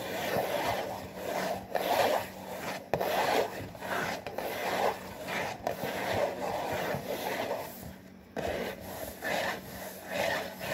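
Fingernails scratch and rub the front panel and top edge of a hollow, printed cardboard saltine cracker box. The result is a dry, papery rasp centered in the midrange, rising and fading in uneven strokes with short pauses between them.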